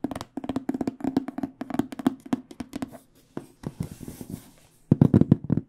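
Fingernails tap rapidly on an AKG hard microphone case with an aluminum frame and black panels. The taps are dry, short, and hollow-toned with a low body, coming in quick flurries separated by brief pauses. A final burst of taps at the end is louder.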